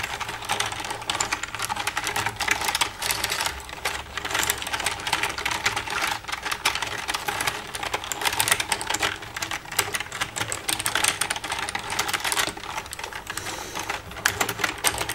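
Long red-painted nails tap and type with both hands across the keys of a black plastic desktop computer keyboard with a hollow casing. A dense, continuous stream of quick, bright plastic clicks and clacks runs throughout, with little low end and short, dry decays.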